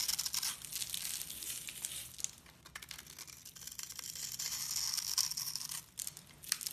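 A hand-sized, rectangular, solid bar of black-and-white striped soap is held in the hands and scratched and crumbled at its top edge with long red-painted nails and fingertips, flaking off shavings. It makes a dense, bright, dry crumbling and scraping sound, with quick irregular crackles and an occasional sharper snap, almost all in the high range.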